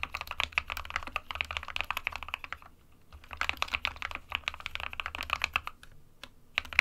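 Fingertips of both hands type continuously on an SK61 small 60% white plastic-cased mechanical keyboard with plastic keycaps, resting on a desk mat. A steady stream of bright, sharp plastic clacks falls silent around the three-second mark and again near six seconds, then resumes. A faint low hum runs underneath.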